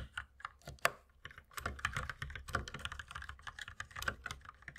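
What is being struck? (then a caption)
Plastic mechanical keyboard. Two hands type continuously with the fingertips on a compact white mechanical keyboard with plastic keycaps, while the mouse beside it sits unused. The result is a steady run of quick, dry plastic clacks with sharp bright tops and almost no ring. The keystrokes are sparser at first, with one louder clack just before the first second, then become a denser, even patter.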